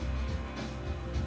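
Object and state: Nothing is struck.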